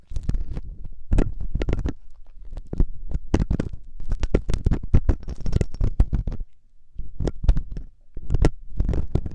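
A metal loop ear pick held by fingertips scratches inside the ear canal of the soft, solid silicone ear on a 3Dio binaural microphone. It makes dense bursts of muffled, low-heavy scraping and rustling with short crackly transients. A brief quiet gap falls near the seven-second mark.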